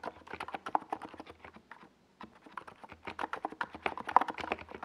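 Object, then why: Plastic mechanical keyboard. Steady typing by both hands' fingertips on a NiZ Plum Atom 68, a compact 68-key mechanical keyboard with a white plastic case and purple and yellow Domikey Gas Attack SA plastic keycaps, resting on a purple desk pad. The keys give a rapid run of short, clacky taps centered in the midrange. A brief pause near the middle separates the two bursts.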